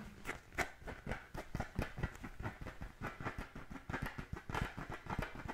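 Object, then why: Inflated composite leather football. Fingernails scratch the pebbled panels and laces of an inflated, brown Wilson-style composite-leather football held in both hands. The result is a quiet, steady run of short, dry rasping strokes, each with a soft low thump and a brief bright crackle that fades quickly.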